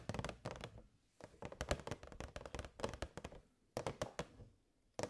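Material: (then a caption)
Plastic. Long nails tap quickly on the sides of a hollow, transparent plastic box with fairy lights inside. Bursts of short, dry clicky taps with a hollow low thump come in quick runs, separated by brief pauses, each tap dying away almost instantly.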